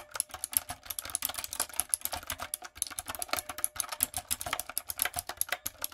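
Long coffin nails and fingertips type quickly on a backlit, typewriter-style mechanical keyboard with round retro plastic keycaps and a hollow plastic body. The result is a dense, steady stream of sharp, bright clicks and clacks with very little low end. Each keystroke dies away almost instantly.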